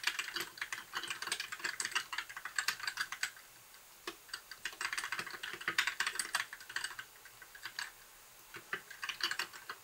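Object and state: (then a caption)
Plastic mechanical keyboard being typed on. Fingertips type on a compact white backlit mechanical keyboard with plastic keycaps, producing quick, bright clacks. The sharp keystrokes come in rapid bursts separated by brief pauses, with almost no low end and very short decay.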